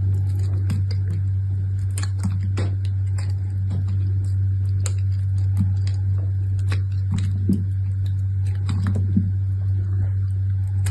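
A utility knife blade carves and scrapes crumbly flakes from the edge of a small, solid, red piece of dried bar soap, held in a hand with long red nails, over a pile of soap shavings. Light, scattered scratching and crackling ticks sit over a loud, steady low hum that runs throughout.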